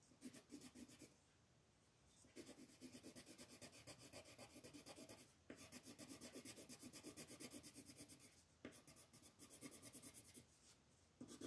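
A pink colored pencil held in the hand shades a petal on a flat white paper sheet printed with a mandala, lying on a table, while the other hand, with painted nails, rests on the paper. Quick, dry, scratchy rubbing strokes come in steady bursts with brief pauses between them. The sound is soft and raspy, with a bright papery hiss over a low-mid scrape.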